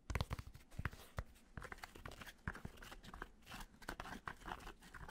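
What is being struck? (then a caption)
Fabric snapback cap. Fingertips scratch and tap quickly on the fabric of a black snapback cap with purple trim, its hollow inside facing up. The result is a quiet, dense run of short, dry scratching and crinkling bursts with a dull low-end thump, with no ringing after each touch.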